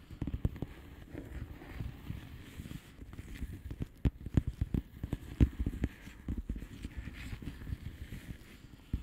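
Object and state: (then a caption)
Plastic bubble wrap envelope. Long fingernails of both hands tap on the air-filled bubbles of a flat blue plastic bubble wrap envelope. The result is a steady run of soft, dull, low taps at an irregular pace, each dying away almost at once, with a few sharper clicks standing out around the middle.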